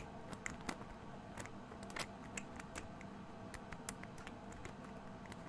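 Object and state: Amber glass essential oil bottle.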